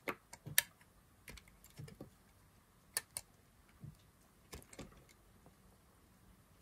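A knife blade carves a solid green dry soap bar held by fingers with glitter nails, repeatedly cutting off small slices. Each cut gives a short, dry, crisp snap with bright, sharp clicks over quiet background. The snaps come in a loose, irregular series.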